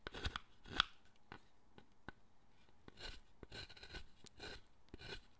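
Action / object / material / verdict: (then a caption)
scrape / carved wooden figure cut by a steel gouge / wood / none. A steel gouge is pushed into a solid wooden statue held in the hand, carving the wood. Short, dry scraping cuts repeat at an uneven pace, with bright chip-like crackle and little low end. A sharper snap comes early, followed by softer, longer shaving strokes.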